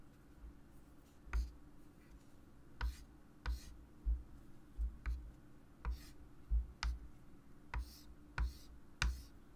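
A hand writes numbers and draws lines with a white chalk stick on a small, solid, wood-framed flat chalkboard lying on a table. The chalk makes sharp, irregular taps with a dull low thump and brief bright scratches. Faint scraping is heard between the taps over a steady low hum.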